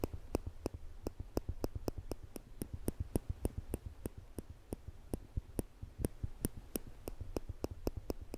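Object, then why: Stainless steel tweezers. Small, thin stainless steel tweezers are held in the fingertips just above a microphone without touching it, and their two metal arms are squeezed so the tips click together. About 29 short, dry, bright clicks come at an uneven pace over a steady low rumble, each dying away almost instantly.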